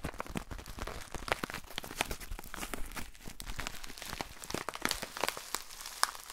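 A small, lightweight, hollow white paper pouch is held close to the microphone and crumpled, rubbed and folded with the fingers. A steady stream of dry crinkling and crackling is heard, with sharp bright snaps over a soft rustle. The same bag is handled throughout.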